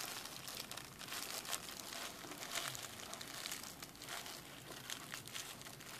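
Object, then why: Plastic bubble wrap sheet. A strip of clear plastic bubble wrap has its air bubbles pinched and popped between thumbs and fingers. The result is a steady, quiet stream of bright crinkling and small crackling pops, mostly high in tone with very little low end.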